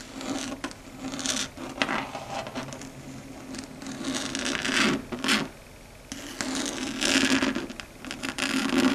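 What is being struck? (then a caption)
Chalkboard scraped and tapped with long fingernails. Long red stiletto nail tips scratch and tap across a flat, dark grey, matte chalkboard surface on a solid board. Close, dry, bright rasping strokes swell and fade in bursts, mixed with light ticking taps over a faint steady low tone.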